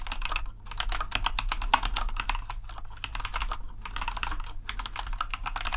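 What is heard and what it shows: Steady two-handed fingertip typing on a compact white plastic RGB mechanical keyboard produces a rapid, continuous stream of short, crisp clicks. Each keystroke is sharp and fades almost instantly. A brief lull breaks the flow early on, and a steady low hum runs underneath throughout.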